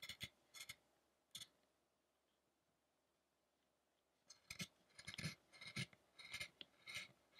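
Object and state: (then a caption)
Carved wooden statue being chiselled. A chisel scrapes and cuts fine detail on the head of a carved solid-wood Buddha statue. A few short, bright, dry scraping strokes come first, followed by a stretch of near silence. A denser run of quick cuts and scrapes then follows through to the end.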